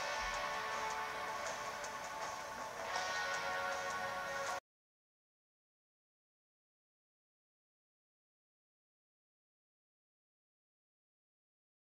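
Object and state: Nothing is struck.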